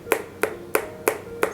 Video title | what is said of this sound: 5 Easy Popsicle Recipes - Orange Popsicle, Watermelon Popsicle, Mango Ice-cream, Banana Ice-cream | it should have a hollow sound when you tap onto it